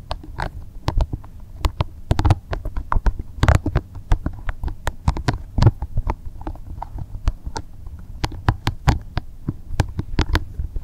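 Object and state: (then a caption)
Rubber spiky massage ball. Both hands squeeze and rub a small, translucent, soft green spiky rubber massage ball. A low, muffled rumble carries a steady stream of short, sharp crackles and ticks with bright edges, each dying away almost at once.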